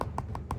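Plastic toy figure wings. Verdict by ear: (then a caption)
Hollow. The hollow wings of a 1992 Bandai Mothra plastic figure are squeezed and tapped, giving a few short, dry clicks with a light hollow tone around 1 kHz. The sound shows the wings are hollow, very lightweight plastic.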